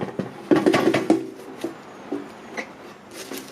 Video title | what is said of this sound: Will Lobster Air Fry. November Florida Keys Spiny Lobster Catch and Cook. | you can just hear how crispy that is